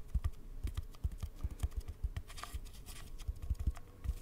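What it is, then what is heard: Cardboard tube. An empty, hollow brown cardboard tube is held diagonally near the mic and tapped quickly with the fingertips. The result is a fast, uneven patter of soft, deep, hollow thuds that die away almost instantly, with faint light ticks between them.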